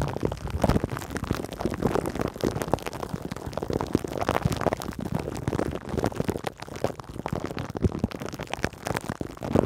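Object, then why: Cling-film-covered metal mesh microphone head. Long green nails on both hands scratch and lightly tap a metal mesh microphone head wrapped in cling film. The result is a dense, continuous crinkling scratch with many quick, dry taps scattered through it, mostly low and mid in tone.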